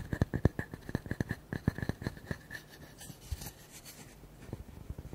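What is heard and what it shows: Fingertips and nails tap fast on the flat cut surface of a solid, palm-sized round wood slice with a bark rim, making about nineteen short, dry, low knocks with a faint mid-range tone. Around the middle the tapping gives way to softer, bright scratching across the surface. A few quieter taps return near the end.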